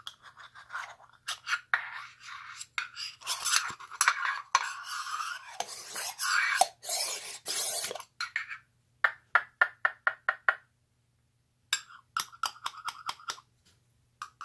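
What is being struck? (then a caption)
Small hollow tin ball in two halves. A small, empty, hollow red printed metal tin ball in two halves is held in both hands with painted fingernails, and its halves are scraped, rubbed and pressed together to close it. Bright metal-on-metal scraping fills the first eight seconds, then gives way to a run of short, sharp clicks separated by brief silences.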